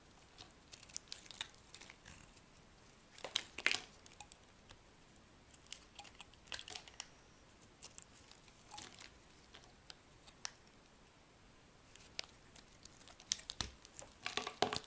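A solid yellow bar of soap is scraped and cut with a metal blade, giving quiet, bright, crisp scratching and crumbly crackles. The sounds come in short bursts and clusters separated by near-silent pauses, with the densest scraping near the end.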